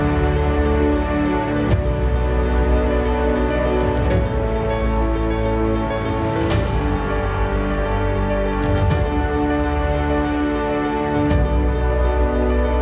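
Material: Nothing is struck.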